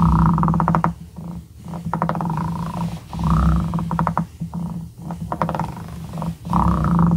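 The twisted, ridged glass shaft of a dip pen is rubbed back and forth across the edge of a small, solid light-wood cube held by fingertips. Each stroke makes a close, buzzing rasp of rapid ridge clicks with a low, full body, and brief quiet gaps fall where the stroke changes direction.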